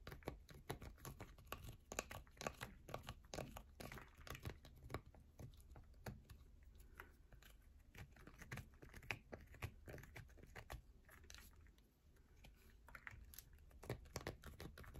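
Long nails rapidly scratch and tap a solid yellow bar of soap up close, producing a dense stream of short, dry, crinkly clicks and scrapes. A steady low hum sits underneath throughout.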